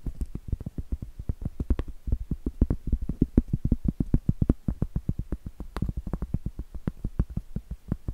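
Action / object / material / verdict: tap / cork trivet / cork / none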